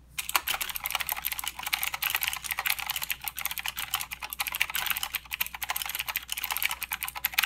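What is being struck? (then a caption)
Plastic mechanical keyboard with clicky switches. Fingertips of both hands type continuously on a full-size mechanical keyboard with plastic keycaps and blue clicky switches. The result is a fast, steady stream of sharp, bright clicks, each dying away almost instantly, with almost no low end.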